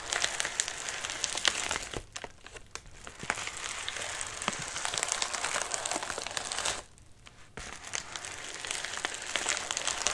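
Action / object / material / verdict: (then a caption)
scrape / padded paper mailer / paper / none. A medium white padded mailer with a wrinkled surface rests on a lap while a hand rubs and grips its crinkly surface. The result is dense, bright crinkling and crackling that runs almost continuously. The noise drops to near quiet briefly around the two- and seven-second marks before resuming.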